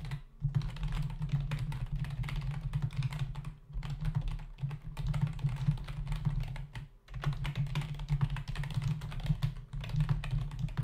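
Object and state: Plastic computer keyboard.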